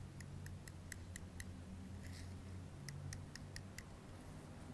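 A black plastic comb's teeth are raked across the metal body of a blue-capped aerosol deodorant can held in one hand, making a run of quick, bright metallic ticks with a ringing tone around 2 kHz. A short scraping smear breaks the rhythm midway before the ticking resumes, all over a steady low hum.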